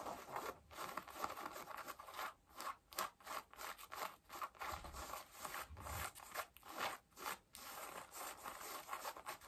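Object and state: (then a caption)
Denim jeans scratched with fingernails. Long nails scratch the front of worn blue denim jeans, then the knee. The result is a quiet, rapid series of dry, raspy scrapes, each a short burst of bright fabric texture centered in the mids with little low end.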